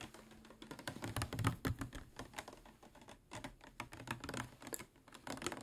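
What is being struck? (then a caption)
Plastic water bottle. Fingernails tap on a medium-size clear plastic PET water bottle with a white cap, hollow and appearing to hold water, held in the hands. Quick, irregular clicky taps patter in short bursts, with dry, hollow knocks that die away almost at once.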